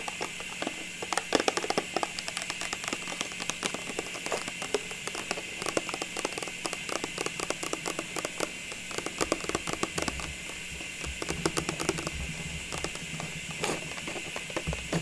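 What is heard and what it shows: A hollow, cylindrical clear plastic tube full of small Christmas ornaments is tapped with long pink nails while held and turned. The result is a dense run of quick, bright clicks and light rattles over a steady faint hiss, with the strongest taps around the middle and at about 14 seconds.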